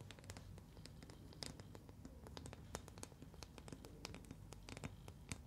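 Long nails scratch and tap a palm-sized, translucent green rubber ball filled with liquid, held in both hands. Quick, bright ticks and scratches come in a steady stream over a soft low rumble. Each tick dies away almost at once, keeping the sound quiet and crisp.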